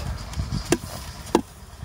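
Knuckles knock on the side of a wooden beehive that had been left untended, giving short, dull, hollow thuds with a low pitch and almost no ring over a faint low rumble. The hive sounds full, and it turns out to be packed with bees, stores and brood.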